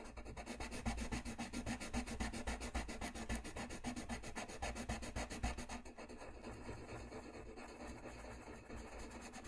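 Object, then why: Paper sheet under a wooden coloured pencil. A wooden colored pencil is rubbed and scratched back and forth across a flat, thin sheet of white drawing paper lying on a white desk while coloring. The result is a fast, steady, rasping scratch of rapid strokes. Just before six seconds it drops a little quieter and softer, then continues.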